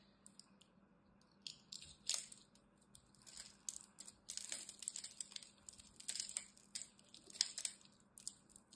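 A palm-sized, solid rectangular bar of green soap is held in a hand with long white-tipped nails while a small blade scratches and cuts a crosshatch pattern into its surface and shaves off small cubes. The sound is a quiet series of dry, bright crunchy scrapes and crumbly crackles. Short bursts come in irregular clusters, with almost no low end and a faint steady hum underneath.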